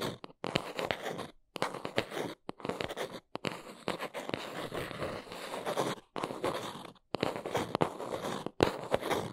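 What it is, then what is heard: Cardboard box. A small brown cardboard box is held in both hands while long nails scratch and tap along its underside and edges. Dry, crunchy scraping comes in bursts full of quick, sharp taps, with brief silent gaps between the passes.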